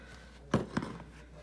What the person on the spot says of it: that sounds good nice and hollow sound